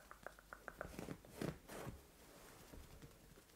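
Long nails and fingertips scratch and rub a soft white fabric bed cover. Six quick, light scratches tick across the fabric, then heavier rubbing swishes rise in a brief muffled rustle before fading into quiet, soft texture.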